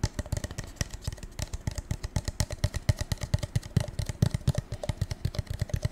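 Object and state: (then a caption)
Metallic paper cup. A gold metallic paper cup is tapped over and over in quick, irregular bursts, giving dull, short knocks with a low, hollow body and almost no ring. About forty taps are heard within six seconds, with no talking.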